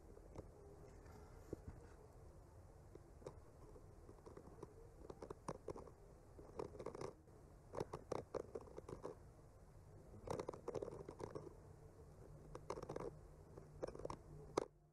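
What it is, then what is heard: Painted wooden panel scraped with a skewer. The tip of a bamboo skewer traces and scratches along the painted tree branches on a solid, flat wooden panel. Quiet, dry scratching comes in short, irregular bursts, with denser clusters around the middle and later sections. A faint low background hum runs throughout.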